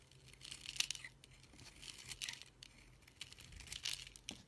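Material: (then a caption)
Soap. A solid green bar of soap, held in a hand with long dark nails, is shaved and scraped with a kitchen knife, sending curls and shavings off its surface. The result is quiet, bright, crisp scraping and crinkly tearing sounds in short bursts, with almost no low end.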